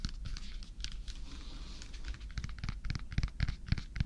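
Fingernails tap and scratch along the peel of a whole unpeeled yellow banana with brown spots, held in one hand. Soft scratchy rustling gives way to a run of quick, irregular clicky taps, each with a bright tick over a dull low knock and almost no ring.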